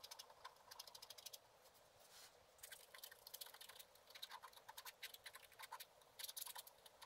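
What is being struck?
Coated scratch art paper sheet.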